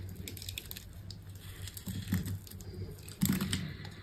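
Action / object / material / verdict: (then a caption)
scrape / bar of soap scraped with a small knife / soap / none. A small knife scrapes and cuts crumbly pieces from the surface of a solid green bar of dry soap with a red net pattern, held in the hand. Soft, dry crunching and scraping run over a steady low hum, with bright crackles on each stroke. The two loudest cuts land near 2.1 and 3.2 seconds.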